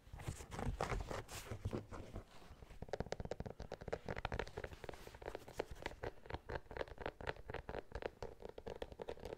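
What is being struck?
Knit mesh sneaker with rubber sole.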